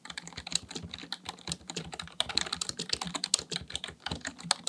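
Fingertips type rapidly on the keys of a black plastic full-size computer keyboard resting on a desk. The result is a fast, uneven stream of sharp, bright clicks and clacks that die away instantly, with a faint low thump under some strokes.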